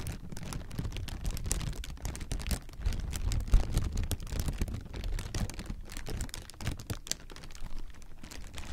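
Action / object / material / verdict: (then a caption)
scrape / plastic air-pillow packing / plastic film / none. Partly deflated clear plastic air-pillow packing is crumpled and squeezed in the hands, making a continuous dense crinkling with scattered faint, bright crackles. Most of the energy is a low, muffled rumble that swells and fades throughout, peaking briefly near the middle.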